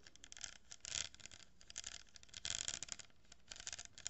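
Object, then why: Cardboard tube with glued plastic pearl beads. Long nails scratch and tap an empty, open-ended cardboard tube lined with a row of glued plastic pearl beads. The result is quiet, bright, dry scratching and clicking with short ticks and louder scraping bursts near one second and two and a half seconds, with almost no low end.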